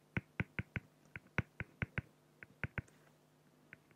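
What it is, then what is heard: Felt-tip pen strokes on acrylic sheet. A felt-tip pen makes rapid short strokes on a flat, clear acrylic plexiglass sheet, filling in a drawn beak on the plastic. About fifteen short, dry scratching taps come in uneven bursts, each sharp and quickly gone, with a low body and a bright edge over a quiet background.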